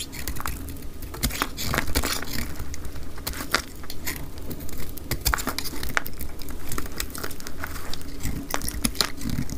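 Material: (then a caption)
Soap. A utility knife blade cuts and scrapes chunks off a dry, hand-sized RUBIS cream soap bar held in the hand, played back at double speed. Rapid, dry, crisp crackles and bright snaps follow one another closely over a steady low rumble. Each cut ends sharply with almost no ring.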